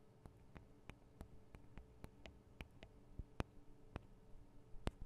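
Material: Metal and plastic.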